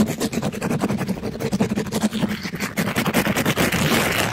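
A black-gloved hand rapidly scrubs a palm-sized, pink glittery mesh-covered sponge against a microphone grille. The result is a dense, continuous rasping scrape made of quick back-and-forth strokes, with a low hum-like body around 215 Hz under a broad, bright hiss.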